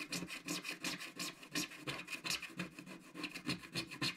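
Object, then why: Scratch-art coated card scraped with a wooden stick. A wooden stick scratches the black coating of a flat, solid scratch-art card page near its edges. It makes a quick, uneven series of dry, rasping strokes with a bright, hissy texture and a faint steady tone around 2.5 kHz.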